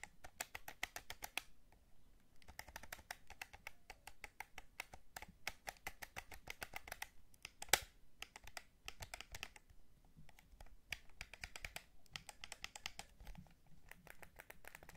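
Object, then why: Plastic game controller. Fingertips tap the shell and press the buttons of a white and black hollow plastic DualSense controller held in the hands. The result is a steady stream of quiet, dry, bright plastic clicks and taps with brief pauses, plus one sharper, louder click just before the 8-second mark.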